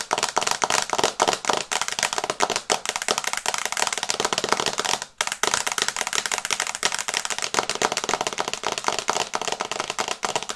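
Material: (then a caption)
Glass. Long nails tap quickly on the glass screen of an iPad held upright in a teal and brown plastic case. The result is a rapid, steady stream of short, bright, dry clicks with almost no ring and no low end, broken only by a brief pause near the middle.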